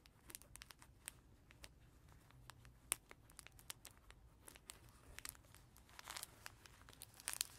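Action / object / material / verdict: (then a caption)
scrape / cloth baby book with crinkly pages / fabric / none. Fingertips and nails scratch and trace across the crinkly fabric pages of a small cloth tiger crinkle baby book lying flat on a carpet. Quiet, bright crackles and crinkling scratches come in a scattered series of sharp, brief ticks, with a louder snap near the middle and a busier flurry toward the end.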